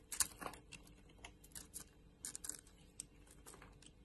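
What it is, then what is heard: Bar soap being scraped and cut. A metal utility blade scrapes and cuts pieces from a hand-sized, solid oval purple bar of soap with a white core, held in the hand. Quiet, crisp, bright scraping and clicking strokes come in an irregular series, each dying away almost instantly.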